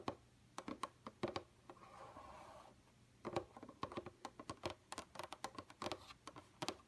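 Long, pointed, painted nails on both hands tap across a flat, dark computer monitor screen, sometimes with the fingers pinched close together. The result is a quick, irregular patter of sharp, clicky taps that die away almost at once, with a short soft scratchy brush between bursts.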